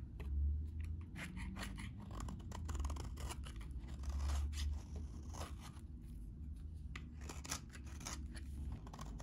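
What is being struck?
Bar of soap shaved with a blade.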